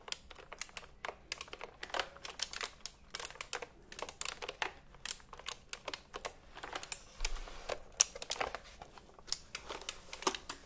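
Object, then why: Plastic computer keyboard with round keycaps. Fingertips type on the round plastic keycaps of a retro typewriter-style computer keyboard held diagonally. Many quick, bright clicks and clacks come in an uneven, steady rhythm, each dying out almost at once with little low end. Some strokes land harder and louder than others.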